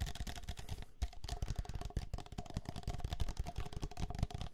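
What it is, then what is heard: Drinking glass tapped and scratched. A small, clear, hollow and empty drinking glass is held in one hand and tapped and scratched with the fingertips and nails of the other. The result is a rapid, dense stream of soft, dull taps and scratchy rubbing that die away almost at once, with a faint steady tone running underneath.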